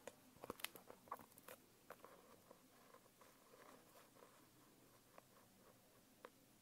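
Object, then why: Foil-covered hardcover notebook. A long nail taps and scratches the embossed lettering on the cover of a closed holographic foil hardcover notebook. A quick cluster of sharp, bright, dry clicks comes early, followed by quieter scratching and scattered single taps near the end. The sound is quiet overall with almost no low end.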